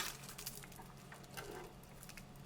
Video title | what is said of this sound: ഗോതമ്പും പൊടിയും വെള്ളവും ഉണ്ടോ ?മൊരിഞ്ഞ ഗോതമ്പു ദോശ റെഡി - 2 Ingredients Crispy Wheat Dosa -Ep:1061 | See how crispy it is. Can you hear the sound?